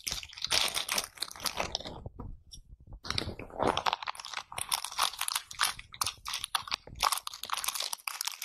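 A round bath brush with dense tufts of pale natural bristles is held by hand and scratched and rubbed against a clear pane, its bristle tips pressing and flicking across the surface. The result is a dense run of bright, crunchy scratching bursts with short quiet gaps between strokes and a brief lull near the middle.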